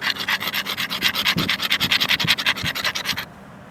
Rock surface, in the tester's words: the outside is not smooth it's rough I could sand something down with it